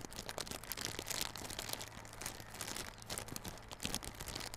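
A small, hollow yellow cardboard Realme Buds Classic earbud box wrapped in clear plastic film is held in both hands while fingers scratch and squeeze the film. A steady, bright crinkling and crackling runs throughout, with quick sharp rustles rising and falling over a faint low hum.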